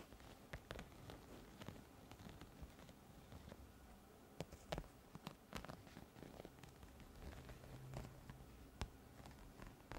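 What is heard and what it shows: An iridescent, studded holographic plastic pouch is held up and scratched with long nails across its textured surface. The result is a quiet, low rustling scrape broken by many sharp, bright clicks as the nails catch on the studs.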